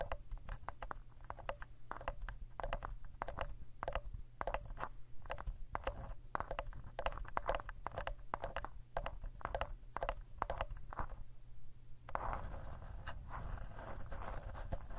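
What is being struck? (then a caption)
Handheld plastic audio recorder body. Fingertips and short nails tap and scratch the rear casing of a hand-sized, hollow black plastic Tascam handheld recorder, gripped in both hands, with the recorder itself serving as the microphone. Rapid, dry, close-up clicks and taps ring out over a steady low rumble, and near the end they give way to a denser, brighter scratching texture.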